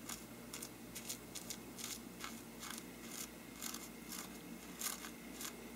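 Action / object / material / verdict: scrape / faux-parchment paper lampshade / paper / none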